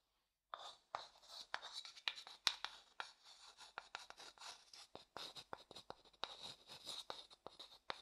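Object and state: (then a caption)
Light wooden bowl scraped with a stick. A small, light-coloured, empty hollow wooden bowl, held in one hand, is stirred and scraped inside with a wooden stick. Quiet, bright, dry scratching comes in a steady run of short strokes and sharp clicks, with almost no low end.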